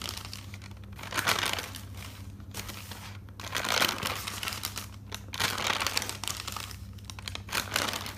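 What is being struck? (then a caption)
Thick paper notebook. Fingers with dark nails turn the pages of an open, thick paper notebook. The paper gives a bright, crinkling rustle that swells with each turn and fades to a soft shuffle between them. A faint steady low hum sits underneath.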